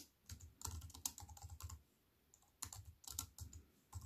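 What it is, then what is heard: Plastic computer keyboard being typed on. Fast typing with fingertips and long white nails on a compact plastic computer keyboard, with black plastic keys on a silver aluminium frame. Bright, short clicks ride over soft low thumps, coming in quick clusters with a brief pause midway.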